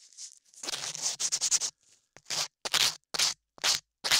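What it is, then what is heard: Sanding a modeling clay ear. A latex-gloved hand holds a dark sanding block and sands and scrapes a solid beige modeling clay ear shape sculpted over the ear of a 3Dio binaural microphone. Close, bright, hissy scratching strokes come first in a quick cluster, then as separate short rasping passes with silence between them. The sound is almost entirely high-pitched, with no low thump.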